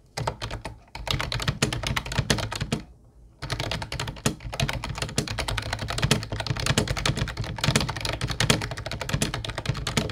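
Fingertips of both hands type on a mint-blue plastic retro Ubotie keyboard with round white keycaps. The result is a fast, steady run of short, clacky key taps with a solid low thump under each stroke and bright plastic clicks on top, broken by brief pauses near the start and around the third second.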